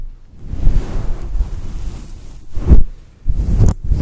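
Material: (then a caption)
Synthetic fur. Long, patterned acrylic nails scratch and rub over the top and sides of a fluffy faux fur microphone windscreen. The result is a deep, muffled rumbling scrape, almost entirely low-pitched with no brightness, rising in heavier swells partway through and near the end.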